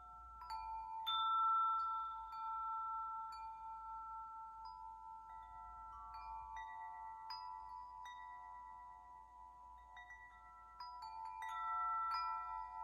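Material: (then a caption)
Metal. A large wind chime of long hollow metal tubes is held by its top and swayed by hand so the tubes strike and ring. Clear, sustained metallic tones centered near 900 Hz overlap with bright overtones, swelling louder at the start and again near the end.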